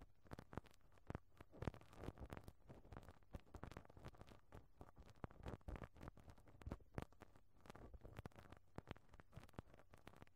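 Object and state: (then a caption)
Metal microphone mesh grille brushed with rubber bristles. A pink rubber-bristle brush strokes repeatedly across a round, perforated metal microphone grille over a hollow capsule. The result is a quiet, continuous stream of short, scratchy brushing and tapping sounds with a deep, thumpy low end, as the strokes rub and knock against the mesh.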